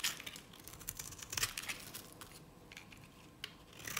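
A utility knife blade shaves curls from a dry, cream-colored solid bar of Nevskaya Cosmetics soap. The sound is a quiet run of crisp, bright scraping and crackling ticks with very little low end, each one stopping almost at once.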